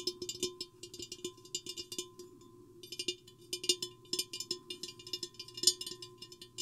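Long painted fingernails tap the sides of a tall, hollow, empty clear glass vase with an hourglass shape, with the microphone inside. The taps are quiet, short, bright clicks in an irregular patter with a brief pause near the middle, each dying almost at once. Beneath them sits a faint low-mid knock and a thin steady tone.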